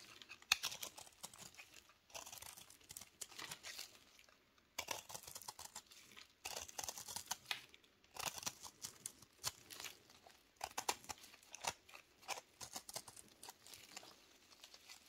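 A small, solid, dry recycled Dalan soap ball with a flat cut face, held in gloved hands, is scraped and cut with a metal knife. Bright, crumbly scraping and crunching bursts come in short runs separated by brief quiet gaps, with almost no low end. Crumbly soap flakes come off the ball.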